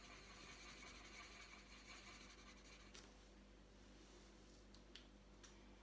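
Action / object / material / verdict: scrape / coloured pencil on a paper sheet / paper / none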